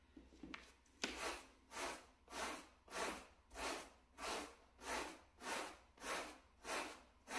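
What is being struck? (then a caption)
Small shag carpet mat scrubbed with a bristle brush. A gloved hand scrubs a wooden bristle brush back and forth across a small, solid, flat grey plush shag carpet mat. After a few faint taps, about ten steady, even strokes make rhythmic, breathy brushing swishes with a bright, scratchy texture.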